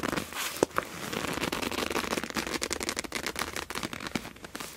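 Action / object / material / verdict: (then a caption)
scrape / clear PVC plastic pouch holding felt-tip markers / PVC plastic / none. An iridescent clear PVC pouch with a black palm-leaf print, full of felt-tip markers, is gripped and squeezed with long nails and fingertips. The plastic gives a dense, bright crinkling and crackling, with a few sharper snaps standing out early on. The sound stays fairly quiet and continuous, with little low end.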